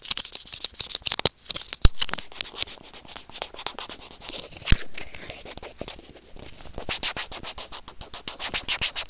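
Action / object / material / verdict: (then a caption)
scrape / plastic earphone inline remote microphone scraped by plastic tweezers / plastic / none. A white plastic tweezer tip scratches and rubs a white plastic earphone inline remote microphone resting on felt. The result is a fast series of sharp, dry scratching clicks with bright hiss. Softer rubbing fills the middle, then quicker scraping strokes return near the end.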